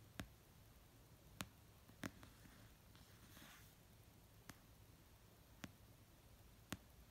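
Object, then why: Paperback book cover. Long painted nails tap slowly on the cover of an orange paperback novel resting on a blanket. Six sharp, brief clicks stand out with long pauses between them over a quiet background, with a soft, bright rustle in the middle.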